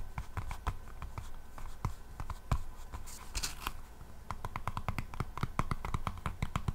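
Long painted nails on both hands scratch the solid back of an A5-sized hardcover notebook with a black textured faux leather cover, held close to a microphone. A rapid series of short, dry scratching ticks plays over a steady low hum, with a brighter rasping sweep midway through.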